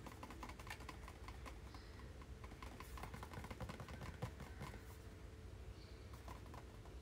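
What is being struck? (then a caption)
Small cardboard box. A small, hollow white cardboard product box with a blue label is held in both hands and rubbed and tapped with fingertips and nails. Quick, soft, dry taps and scratchy rubbing sounds run continuously over a low, dull background, with a faint steady tone underneath. The taps die away almost instantly.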